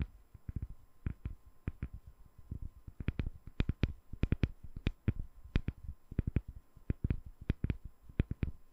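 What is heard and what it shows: Long nails tap on a solid, palm-sized translucent glycerin soap bar with embedded colored balls. About thirty quick taps come in an uneven series. Each is a soft, dull low thud with a brief bright click and almost no ring, against a quiet background.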